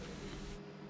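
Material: Nothing is struck.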